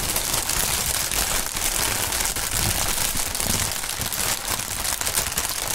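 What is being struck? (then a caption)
Polyethylene air pillow packaging. A large strip of clear polyethylene inflated air-pillow packaging is crinkled, twisted and squeezed by hands and fingertips. The result is a continuous, dense crackling and rustling, bright and hissy in the highs with a soft low rumble underneath.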